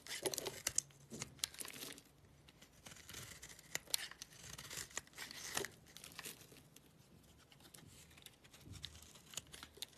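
A black blade scrapes and shaves thin curls off a flat, solid, palm-sized white bar of soap held in one hand. Many short, crisp, bright scraping and crackling strokes come in uneven bursts, separated by quieter stretches. Each stroke stops dry and sharp with no ring.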